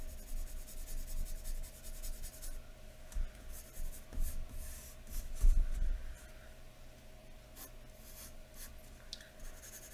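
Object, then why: Graphite pencil on a paper sheet over a wooden table. A graphite pencil held in the fingers scratches lines along the neck area of a drawing on thin white drawing paper lying flat on a wooden table. Quick, uneven strokes make a bright, dry scratching over a low steady hum, loudest in the first six seconds and then fading to lighter, sparser strokes.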